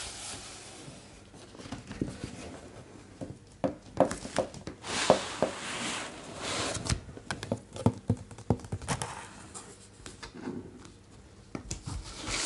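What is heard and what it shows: Fingertips and a flat palm rub and trace across the thick blank paper pages of a large open art book, making soft, breathy friction hiss and papery rustles broken by sharper taps and page sounds. The book is then closed and the hands touch its glossy laminated lilac hardcover, adding smoother brushing and light tapping.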